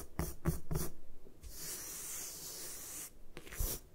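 Long acrylic nails tap and scratch a solid, palm-sized block of white magnesium carbonate gym chalk resting on a table. Quick, dull taps with low thuds give way to a steady, bright, hissing scrape, then a few more taps.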